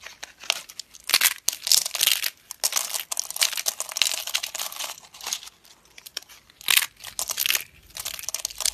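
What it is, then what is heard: Dry, brittle soap plates. Stacked thin, dry, brittle yellow soap slices are crushed and crumbled in both hands with long red-nailed fingers. Bursts of crisp, bright crunching and crackling come and go, with short quiet gaps between them and almost no low end.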